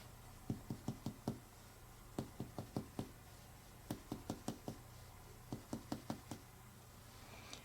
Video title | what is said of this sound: The Abdominal Exam Compilation | the more dull sound of a solid organ